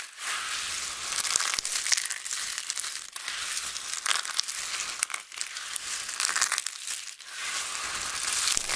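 Both hands, a bracelet on one wrist, grab, crush and rub a large pile of small, thin, solid flakes of dried multicolored soap with their fingertips and nails. The result is a steady, bright, crisp crunching and crinkling crackle with almost no low end. It eases off briefly about three times before building again.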